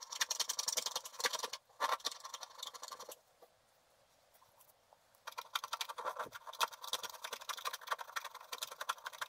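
A wooden stylus makes fast, short scraping strokes across a flat sheet of black wax-coated scratch art paper, producing a dry, bright scratching texture with no low end. The scratching runs in bursts, stops for about two seconds of near silence, then resumes steadily to the end.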